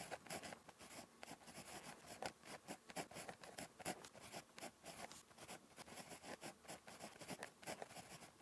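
A ballpoint pen tip scratches across a thin, flat lined paper notebook page while writing handwriting strokes. The sound is a quiet series of short, dry scratching strokes with bright, hissy edges, coming in rapid bursts with brief pauses between them.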